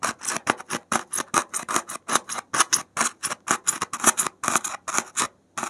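A gloved hand repeatedly jabs and scratches the surface of a solid white expanded polystyrene (thermocol) foam block with a metal safety pin. About 27 short, bright, squeaky scratches come in a quick, uneven rhythm, each stopping dead with almost no ring and little low end.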